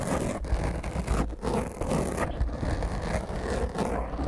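A black foam microphone windscreen is scratched and rubbed with the long fingernails of both hands. It makes a continuous, dense, rough scratching and rustling with a heavy low rumble underneath. The level swells and dips with the strokes.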